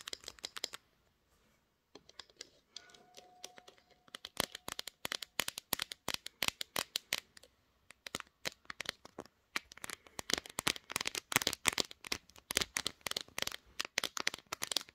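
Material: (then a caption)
Glass. Long green nails rapidly tap and scratch the hard pink glass back and edges of a smartphone mounted on a tripod. Quick, sharp, bright clicks come in dense bursts with very little low end, broken by a short pause near the start and a faint brief tone early on. The taps grow busier and louder toward the end.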